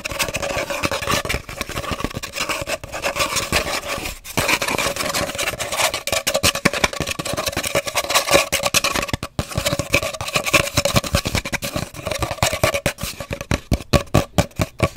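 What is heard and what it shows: Long nails scratch and rub along the length of an empty, hollow cardboard paper towel roll held diagonally. The sound is a dense, rapid stream of bright, raspy scrapes and quick taps over a steady hollow midrange ring from the tube, with brief dips near 4 and 9 seconds.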